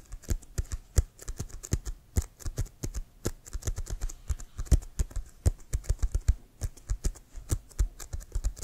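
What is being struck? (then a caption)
Inflated leather American football. Fingernails tap rapidly on an inflated, hollow leather American football held upright. An irregular stream of short, dry taps, each a low, hollow thump with a faint bright click, stops dead with no ring.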